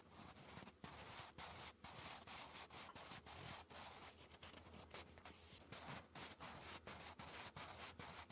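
A wooden graphite pencil held in the fingers scratches cursive letters in continuous strokes onto a textured lined paper notebook page. The sound is a bright, dry scratching that runs in bursts with many brief gaps between strokes, over a faint low hum.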